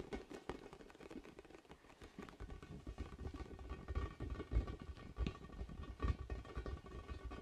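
A large, orange, hollow, inflated vinyl ball with spikes is held up and tapped with fingers in front of a microphone. The result is a quiet, rapid patter of soft, dull, low thumps that fade almost at once, with the taps running together unevenly throughout.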